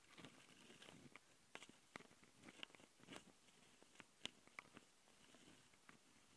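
Fingertips and long nails scratch and rub the metal mesh grille microphone capsules on the plastic body of a small black Tascam handheld recorder. The result is a quiet, bright, close-up scratchy texture broken by sharp, dry clicks and ticks that die away almost instantly.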